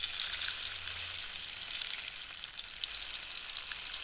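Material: Cactus wood.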